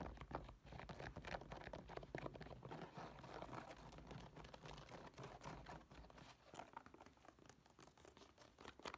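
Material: Woven nylon.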